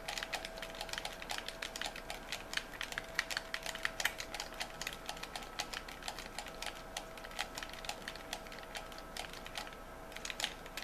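Fingertips and thumbs rapidly click the buttons and triggers of a white, hand-sized, hollow hard-plastic game controller held in both hands. The result is a dense stream of sharp, bright plastic clicks and taps that die away almost instantly, over a faint steady tone.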